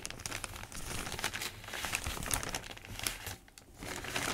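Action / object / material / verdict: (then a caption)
scrape / thin newsprint newspaper sheets / newsprint paper / none. Hands turn, crinkle and rub the pages of a thin newsprint newspaper lying open, using fingertips and palms. A dense, bright papery crinkling and rustling runs throughout with quick crackly snaps, briefly easing to a softer rub just before the end.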